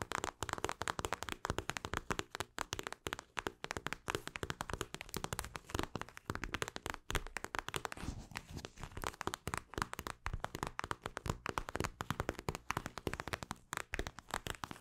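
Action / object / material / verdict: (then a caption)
scrape / plastic eye mask filled with gel beads / plastic / none. A hand-sized, flexible mint-green eye mask, made of a clear plastic shell filled with small gel beads, is scratched and tapped with long acrylic nails. The result is a rapid, continuous stream of short, dry taps and crinkly scratches with no ring, centred in the low-mid range around 1.2 kHz.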